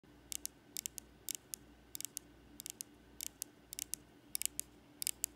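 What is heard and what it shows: Long acrylic nails tap and scratch along the body of a small, slim, solid aluminum Apple TV remote with a silver back and Apple logo, first held in the hand and then laid on a ribbed fabric couch. Short, bright clicking taps come in quick clusters over a quiet background, ending in fast finger-fluttering taps.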